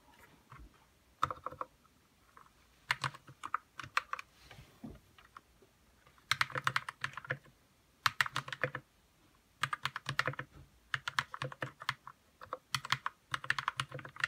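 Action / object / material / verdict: tap / plastic mechanical keyboard with linear switches / plastic / none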